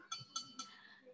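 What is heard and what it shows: A hard, fairly heavy metal bottle is tapped three times, each tap giving a bright metallic clink with a short ring that fades quickly. The tones are high and bell-like, and the bottle is judged to be metal because it is hard and strong.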